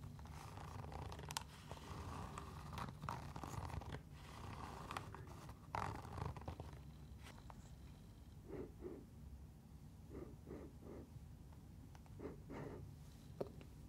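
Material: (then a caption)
Synthetic mesh. Long nails scratch and rub the synthetic mesh upper and laces of a fabric sneaker held in the hands. Dry, raspy scraping and zipper-like rubbing run over a steady low hum, then give way to a series of short, soft swishing strokes.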